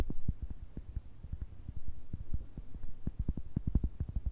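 Long red nails tap and scratch across the textured surface of a round, solid, palm-sized cork coaster. The result is a quick, uneven run of soft, dull, low thuds with almost no brightness, each dying away almost at once under a faint low hum.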